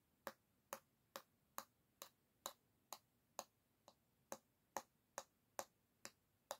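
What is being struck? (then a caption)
Bamboo back of a wooden hairbrush. The tip of a long nail taps the solid bamboo back of an oval hairbrush held by the handle, giving 15 crisp, dry clicks at a steady, even pace. Each tap is a short, bright tick with a woody midrange tone that dies away almost instantly, with quiet hiss in between.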